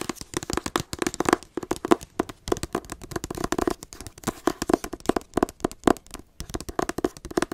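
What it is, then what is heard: Hardcover book tapped with fingernails. Long acrylic nails tap and scratch the front cover of a teal hardcover book. Dense, rapid clicks and short scratchy strokes sound with a dry, hollow tone centred in the low-mid range, with no ring after each tap.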